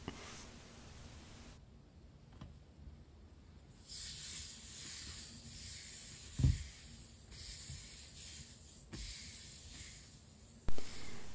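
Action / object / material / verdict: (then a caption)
tap / spiral-bound journal with a paper-covered hardboard cover / paperboard / none. Fingertips with short nails tap and scratch across the yellow printed front cover of a medium hardcover spiral-bound journal with a yellow paper-covered board and a metal coil, lying flat. Soft, hissy scratching sweeps over the board, broken by dull, low taps, with two sharper knocks standing out near the middle and the end.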